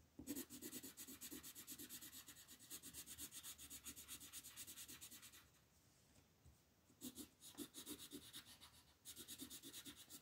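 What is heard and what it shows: A green wooden colored pencil shades leaves on the right side of a flat printed paper coloring sheet resting on a table. Quick back-and-forth rubbing strokes make a bright, scratchy hiss with a soft papery thump near 290 Hz. The strokes run steadily, pause for about a second and a half, then resume in two more bursts.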